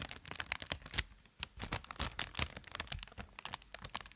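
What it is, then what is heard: Plastic air cushion packaging. Long nails squeeze and crinkle the air-filled cells of an inflated plastic air cushion packaging strip held horizontally. A dense run of bright, dry crinkles and sharp crackling snaps is heard, each very short with almost no ring. Occasional louder pops stand out against the busy rustle.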